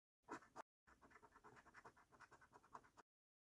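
A coin scratches the silver latex coating off a flat, thin cardboard paper scratch card held by fingertips. Two short, louder scrapes are followed by a brief pause, then a quick, steady run of dry, papery scraping strokes.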